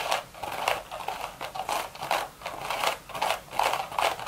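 Long red nails tap and scratch the hollow crown of a beige woven straw hat. Dry, crackling scratches and light taps repeat in irregular bursts, with a papery rustle centered in the mid range and bright high edges.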